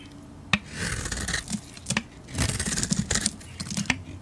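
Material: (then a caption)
Soap. A metal blade shaves curls off a solid bar of yellow soap coated in purple-gold glitter. Soft, bright scraping strokes are broken by sharp, short clicks and crisp snaps as the blade cuts through the coating.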